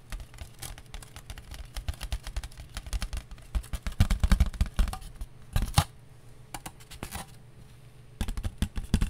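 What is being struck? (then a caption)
Foam disposable plate. A thin, light, round white disposable foam plate with a ridged rim is held in both hands and tapped quickly with long nails. The result is a dense run of soft, dry, hollow clicks that drop off almost instantly, with a louder flurry midway, a quieter lull, and then brisk tapping again at the end.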